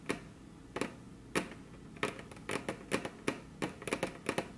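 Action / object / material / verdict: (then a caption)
tap / wooden table top / wood / none. Very long curved fingernails tap their tips on a flat, solid, glossy dark-brown wood-grain tabletop, with the hands crossed. The result is an irregular series of sharp, dry clicks, some single and some in quick clusters. Each has a brief low-mid knock and a bright tick that dies away almost instantly over a quiet steady hiss.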